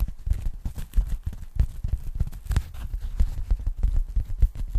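Long nails tap and scratch the surface of a thin pink polyethylene foam packing bag, held up flat and empty by the hands. A rapid, uneven run of soft, muffled thumps and dull rubbing sounds is heard, deep and low with almost no brightness, and each tap dies away at once.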